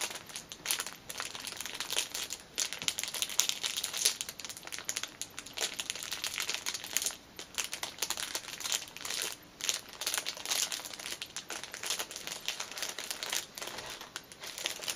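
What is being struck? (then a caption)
Fabric pouch in a clear cellophane wrapper. Both index-finger nails tap the clear cellophane wrapped around a small black fabric pouch lying on a cushion. Dense, bright crinkling and crackling fills the whole clip in quick, dry bursts with almost no low end.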